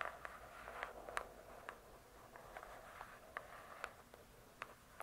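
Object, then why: Hardcover book with cardboard cover. Long nails tap and scratch the glossy cardboard cover of a large, closed hardcover book. Twelve quiet, sharp taps with very short ring are heard over a soft, continuous scratching hiss, with most of the sound centred around 1 kHz.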